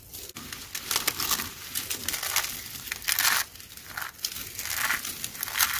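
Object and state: Dry crunchy soap flakes.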